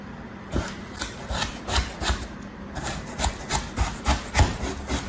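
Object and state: Kinetic sand slab being cut.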